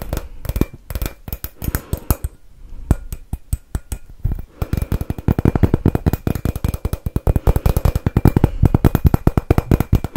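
A hollow, palm-sized glossy dark blue glass Christmas bauble with a silver glitter swirl pattern and a metal cap with a string loop is held in both hands and tapped and scratched with long manicured fingernails. Rapid, dry clicking taps with almost no ring come in uneven bursts, thinning briefly near the two-second mark, then growing denser and more continuous through the second half, mixed with faint scratching.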